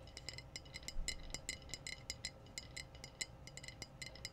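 Long blue-painted nails tap the body of a clear glass wine bottle with a foil-capped neck, hollow and apparently empty, held up in view. A quick, uneven run of short, bright glassy clinks rings out, each with crisp high overtones that die away almost at once over a low, steady hum.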